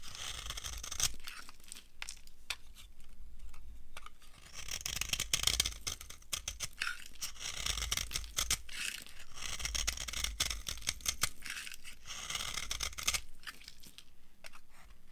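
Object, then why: Soap bar carved with a metal knife. A dry, solid orange soap bar is carved with a metal knife, and crumbly shavings fall onto a pile. Bright, crunchy scraping and crackling come in dense bursts over a low rumble, with short sharp clicks and no ringing after them.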